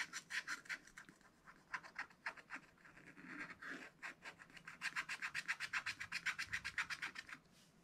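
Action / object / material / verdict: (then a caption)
scrape / wax-coated scratch-art paper scraped with a wooden stylus / coated paper / none. A wooden stylus rubs and scratches the coating of a thin black wax-coated scratch-art paper page in a spiral pad, using short back-and-forth strokes. The result is a quick, uneven series of dry, bright rasping scrapes centered around 2 kHz, with short pauses between bursts and a faster run of strokes near the end.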